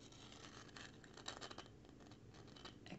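Fingertips and nails scratch along the textured grain of a small, weathered, grey-painted rustic wooden plank sign reading "it's OK," which is solid and lying flat. The result is a quiet, dry, continuous rasping with brief brighter scrapes and short bursts of high hiss, and little ring between strokes.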